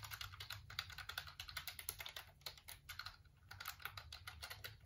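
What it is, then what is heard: Plastic computer keyboard. Fingertips type and rub across the keys of a black plastic computer keyboard held close up, making a rapid, uneven stream of short, bright plastic clicks and taps with soft scratchy rubbing between them. A steady low hum runs underneath throughout.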